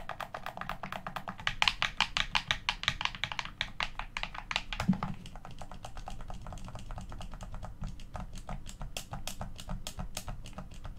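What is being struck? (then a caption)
Plastic game controller. Thumbs and fingertips press the face buttons and thumbsticks of a hollow, black plastic Xbox One controller, making a rapid, steady stream of short, dry, bright clicks and taps. The clicks are loudest and densest in the first half, then continue slightly softer over a low, steady background rumble.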